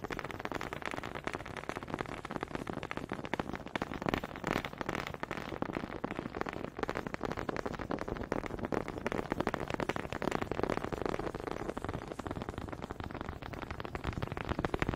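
Wooden honey dippers are tapped in a dense, fast patter of quick dry clicks that sounds much like rain on a surface. The taps run steadily and unevenly for the whole clip, with a woody mid-range body and little bright top.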